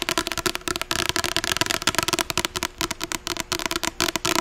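Long acrylic nails tap and scratch fast on the front of a closed medium paperback novel, *Ugly Love*, with a glossy blue cover, held upright. About twenty sharp, dry clicks come in quick succession over a bright scratchy hiss, with almost no low end and no ring after each hit.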